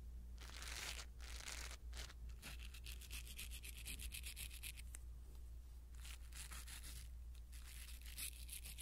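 A blue silicone-bristle ear pick brushes across a small black foam windscreen on a pin microphone. Soft, bright scratchy rustles come in quick, uneven strokes, some longer swipes and some short flicks, over a steady low hum.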